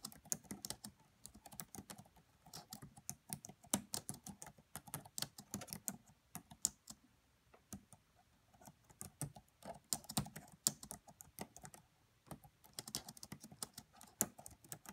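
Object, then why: Plastic laptop keyboard keys. Fingertips and long nails type on the black plastic keys of a red laptop keyboard, tapping out quick, bright clicky strokes. The typing comes in bursts separated by brief pauses around the middle and near the end. The taps are quiet, short and dry, with almost no ring after each one.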